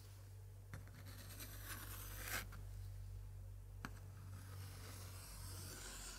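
A white-gloved hand touches a page of an antique 1880s paper scrapbook, with pasted color prints, then traces and scratches the same spread with a thin pointer. Quiet, dry scratching and rubbing rise to a brighter scrape near the middle, with a few sharp ticks over a steady low hum.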